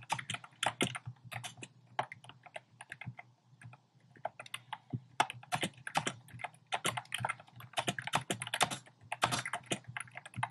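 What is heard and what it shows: Fingertips type fast on a compact plastic mechanical keyboard with a black plastic case and round pastel plastic keycaps. A rapid, uneven stream of short, bright clacks with quick decay plays over a faint steady low hum, with a brief lull near the middle before the typing picks back up.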